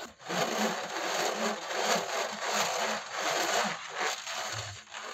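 A black dual-fan laptop cooling pad with a perforated metal mesh is held upright while fingertips rub and scratch across the mesh and along its top edge. The result is a continuous, bright, hissing rasp that swells and fades in loose, uneven strokes, with no distinct taps.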